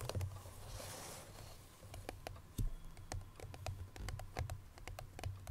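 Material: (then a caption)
Paperboard. Long nails tap quickly and irregularly on the front face of a hollow cream paperboard Chloé perfume box with the bottle still inside. Each tap gives a short, dull, hollow knock with a crisp bright click that dies away almost at once. A soft brushing hiss comes in near the start.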